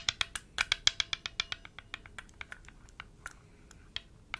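A single palm-sized, blue enamel-painted hollow metal Chinese health ball, cupped in one hand, is tapped and rubbed by the fingertips of the other hand, which wears metal rings. About sixteen sharp, bright clicks come in an irregular rhythm with a faint scratchy rubbing between them. Each click dies away almost instantly, and the taps grow softer and sparser toward the end.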